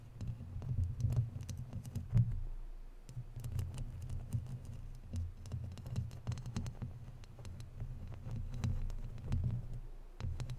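Long natural nails tap and scratch the sides of a hollow, round woven metal mesh microphone grille. A steady stream of quick taps and scratchy rubs comes through as a deep, boomy thumping centered around 60 Hz, dotted with sharp, brief clicks that reach into the highs. The sound stays dense and busy throughout, with small swells of louder tapping and no real pause.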